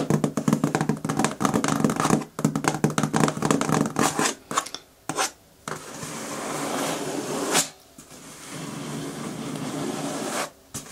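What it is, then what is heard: Cardboard shipping box. Long nails rapidly tap and scratch the top surface and tape of a medium, closed, hollow corrugated cardboard shipping box. Quick, irregular hollow taps fill the first half, then give way to longer, steady scratching strokes across the cardboard with brief pauses between them.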